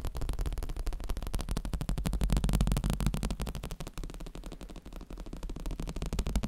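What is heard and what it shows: A black cushion is tapped rapidly and continuously. The taps are soft, muffled low thuds with almost no high-frequency content and very short decay, blending into a steady patter throughout.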